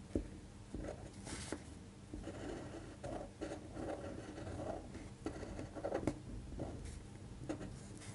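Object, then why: Paper sheet on a table. A fine-point pen tip scratches across a thin white printed paper sheet lying flat on a table, tracing cursive letters while the other hand rests on the paper. Quiet, soft scratchy strokes with brief light taps come in uneven bursts, mostly low and muffled with little bright hiss.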